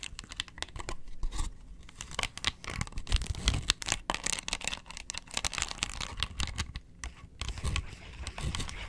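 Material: Plastic.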